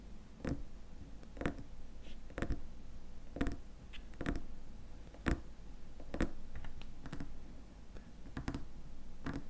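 Fingernails tap the rim of the white plastic lid and the glass sides of a small glass cream jar filled with cream. Short, sharp, clicky taps with a bright edge sound at an uneven pace and die away almost instantly. A faint low hum sits steadily underneath.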